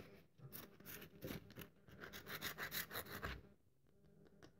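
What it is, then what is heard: Dry bar of soap. Long nails scratch and crumble the edge of a very dry, solid cream-colored bar of soap held in the hand. The result is a quick, uneven series of dry, crisp raspy scrapes with bright crackly texture. The sound fades to faint scratching near the end.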